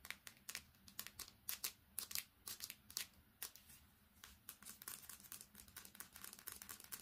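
A smartphone with a metal back and glass screen is held in both hands and tapped rapidly with long painted fingernails, first on its silver back, then on its dark screen and edges. The result is a quiet, fast, uneven stream of sharp, bright clicks that stop dead with almost no ring.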